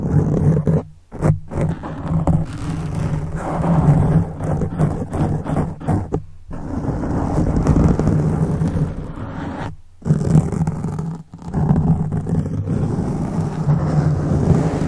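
Fast fingertips scratch both sides of a black foam microphone windscreen. It makes a dense, low, rumbling scrape that runs almost continuously, with a few brief pauses near 1, 6 and 10 seconds.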